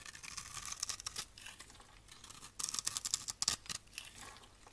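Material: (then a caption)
Soap. A blade scrapes across the grid-scored surface of a solid rectangular green and white striped bar of soap held in the hand, shaving off crunchy small cubes. The sound is a dense run of bright, crisp crunching and scraping with almost no low end, growing louder and more clustered in the second half before easing off.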